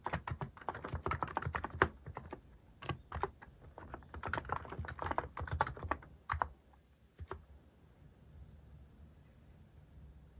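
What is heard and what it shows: Fingertips type slowly on a Hanmumu mechanical keyboard fitted with plastic cat-shaped keycaps, the hand moving to the right across the keys. The result is a dense run of short, dry, clacky keystrokes with a low thock, which thins out after about six and a half seconds to a couple of last taps and then a quiet low hum.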